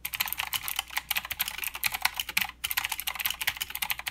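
A mechanical keyboard with plastic keycaps and clicky blue switches is typed on fast with the fingertips of both hands. Rapid, bright, sharp clicks come in a steady stream with almost no low end and a brief pause just past the midpoint.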